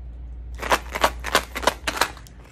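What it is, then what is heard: Tube containing pennies. Tube number three, which holds pennies, is shaken again, producing a series of bright, sharp metallic rattles as the coins clatter back and forth inside. A steady low hum runs underneath throughout.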